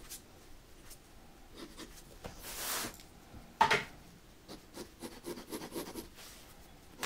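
A mechanical pencil scratches and draws outlines on white drawing paper in a spiral-bound sketchbook resting on a dark table, as the sketchbook is rotated. Soft, dry scratching strokes come in short bursts, with a broad hissing swipe partway through and a sharper tap just after it.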